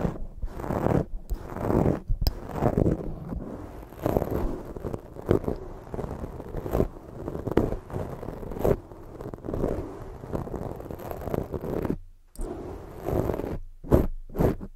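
A black foam microphone windscreen is held in both hands and rubbed and scratched with long fake nails. The result is a dense, muffled rustling and scraping that is heavy in the low and middle range with little brightness. It comes in uneven bursts of fast and slower strokes, broken by brief near-silent gaps.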